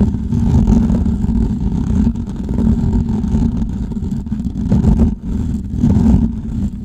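Fingernails scratch the hollow metal mesh grille of a large microphone, making a dense, continuous low rumbling scrape with a steady rasping texture and little high end. The level dips briefly near the five-second mark, and the hand pulls away near the end.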